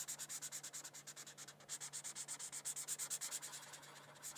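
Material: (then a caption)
Paper. A felt-tip marker is rubbed in quick back-and-forth strokes over a thin paper coloring sheet resting on a hardcover book. It makes a dry, scratchy hiss that is bright and mostly high-pitched, with a soft, steady low hum underneath. The strokes pulse in an uneven rhythm for the whole clip, briefly easing off about a third of the way through.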